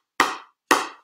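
An older GX5 pickleball paddle with composite honeycomb construction is tapped twice while held in the air, giving two sharp, hollow knocks with a midrange tone and a short fading ring. The sound is judged hollow, not like a honeycomb paddle and closer to cardboard, which is what players had complained about with the old paddles.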